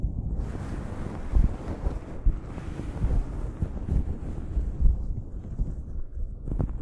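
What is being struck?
Cotton terry towel over a microphone.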